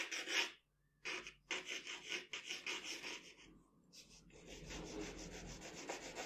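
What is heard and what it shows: A pencil rubs and shades across a sheet of drawing paper on a table, working over the face of a portrait. Dry, bright, scratchy strokes come in short bursts separated by brief pauses, with a softer, steadier rubbing toward the end.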